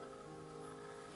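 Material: Nothing is struck.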